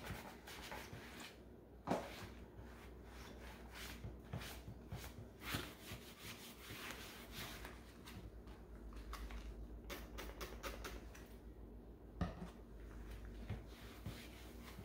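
Rubber-gloved hands rub a cloth over the top and base of a hollow green plastic Keurig coffee maker body. Soft, steady swishing and scrubbing sit over a low, constant hum, with a few sharper plastic knocks standing out along the way.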